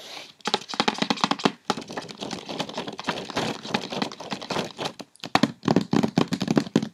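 Long red-painted fingernails on both hands quickly tap and scratch the lid of a large, closed, rectangular white cardboard Issey Miyake perfume gift box lying flat on a bed. The result is a dense stream of dry, short tapping clicks mixed with crinkly scratching, with brief pauses around 1.7 and 5.2 seconds.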